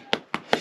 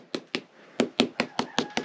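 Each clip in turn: First: Three quick, dull knocks on lime plaster over stone; the papery, unringing sound marks render that has come loose. Second: Eight quick, dry knocks with no ring or boom: lime render still firmly bonded to the stone.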